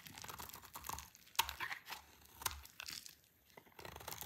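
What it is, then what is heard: Dry soap bar being scraped. A solid, dry green soap bar is scraped with a utility knife blade, giving a run of dry, bright scratching and crunching strokes as shavings fall, with two sharper clicks standing out. The sound tapers to near silence before a little faint rustling at the end as the bar is simply held up in the hand.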